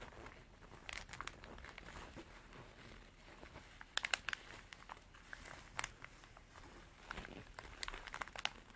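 Long dark artificial nails scratch and tap a small, soft, hollow cream canvas zippered pencil pouch. The result is a quiet, steady bright crinkling and scraping texture, punctuated by sharp, dry clicking taps that stop instantly.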